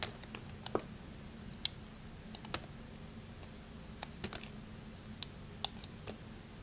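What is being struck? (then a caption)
Glycerin soap bar cut with a metal blade. A metal utility knife blade repeatedly shaves thin slices off a small remaining piece of solid, translucent orange glycerin soap held in red-nailed fingertips, with the shavings piling up behind. Quiet, crisp, bright clicks and snaps sound at irregular intervals over a faint low hum.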